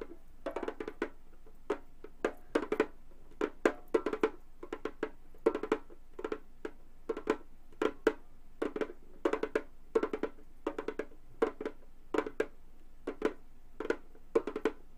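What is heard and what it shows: A hollow Remo frame drum with a synthetic skin head is tapped rapidly with gold metal claw fingertips on both hands. Short, dry, woody-sounding taps centered around 430 Hz come in quick clusters and flurries, each dying away almost instantly with a faint bright click on top. The tapping continues steadily in bursts over a quiet background.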